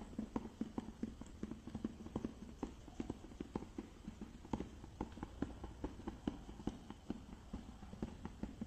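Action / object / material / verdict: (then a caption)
tap / small clear plastic case with lid / plastic / none. Fingertips and nails tap the green lid and sides of a small clear plastic case with a boxed product inside. The result is a steady run of quick, dry, clicking taps with short low knocks and almost no ring.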